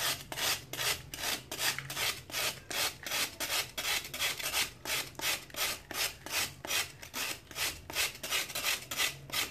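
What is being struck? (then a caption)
Sand-cement chunk scraped with a metal knife. A metal knife scrapes along the edge of a solid chunk of dried sand-cement held over a tub of water, in steady, repeated shaving strokes. About 27 short, bright, gritty rasps follow one another at a quick, even pace, each fading almost at once.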